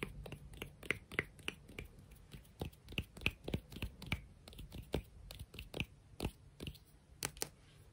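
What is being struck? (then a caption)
Beach rock. A rock from the beach, a sea rock, is tapped and scratched at a quick, uneven pace. Each tap is a short, dry click with a bright ring near 2 kHz and almost no decay, over a faint low rumble and soft scratching between strikes.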